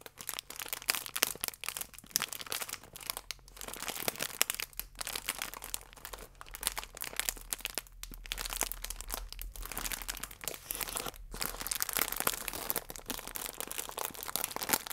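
A plastic flow-wrap bag with a croissant inside is squeezed and twisted in the hands while nails scratch across it. This makes dense, bright crinkling and crackling that runs for the full length, with a few brief dips in the sound. There is a faint low hum underneath.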